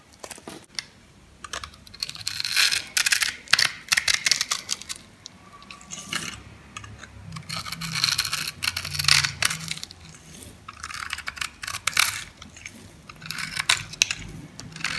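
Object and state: Bar soap being cut.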